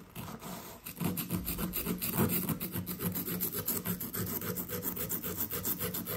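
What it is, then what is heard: Compressed sand dig block being scraped. A small blue plastic chisel, held in fingers with red nails, scrapes at a fist-sized, solid blue, gem-shaped dig brick of compressed sand/plaster resting on a brown paper towel. A quick, uneven run of gritty, rasping scratches fills the clip, with loose sand trickling off the block.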